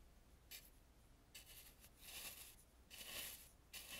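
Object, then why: Carved painted wooden mask. A large dry bristle brush sweeps around the eyes of a hollow, face-sized Balinese painted carved wooden mask, brushing its front face. Soft, bright, bristly swishes and rubs come in short, uneven bursts over a faint low hum.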